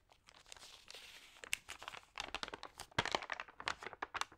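A hand flips and rubs the thin, wavy pages of an open glossy paper magazine. It makes a dense stream of crisp crinkling and sharp paper crackles. The sound is quiet and bright, with little low end.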